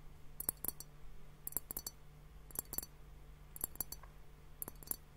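A large hollow, hourglass-shaped clear glass timer, partly filled with pink liquid and foamy bubbles, is held in both hands and tapped with fingertips and nails on both bulbs. Short, bright glassy clicks come in five quick bursts of a few taps each, dying away almost instantly over a faint steady low hum.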